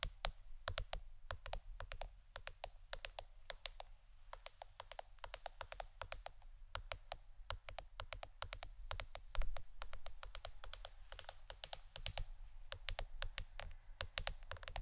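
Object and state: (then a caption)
Plastic board, tapped. A plastic board shaped like a shirt is tapped with the fingernails in a quick, steady stream of crisp, bright clicks, each dying away almost at once. A constant low hum runs underneath throughout.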